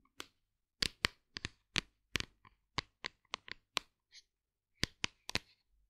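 Long nails tap and scratch the sides of a hollow white plastic vegan fiber supplement tub with a label. Sixteen sharp, bright clicks and ticks come in uneven clusters with quiet gaps between them. Each one is dry and dies almost instantly, with very little low end.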